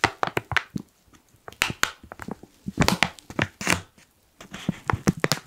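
Fingers fold and crinkle the side gusset of a black foil coffee pouch. Sharp, bright crackles and crunches come in quick bursts separated by short quiet gaps, with each crinkle stopping dead and no ring.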